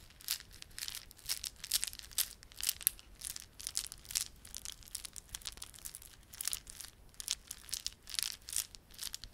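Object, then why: Plastic beaded garland with fringe. A small clump of plastic beaded garland, with solid glossy dark blue and silver plastic beads and red spiky plastic fringe, is held in both palms while fingertips rub and squeeze it. Continuous bright, high clicking and crinkling comes in quick irregular bursts, with almost no low end.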